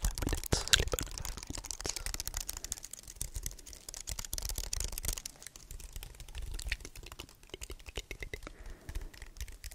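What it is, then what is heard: Aluminium and plastic computer keyboard. A slim wireless keyboard with white plastic keys and a solid, flat aluminium frame is held up close while fingertips press and tap its keys in a typing style. It makes a steady stream of quick, dry, bright clicks with short low thumps underneath, and each click stops almost at once.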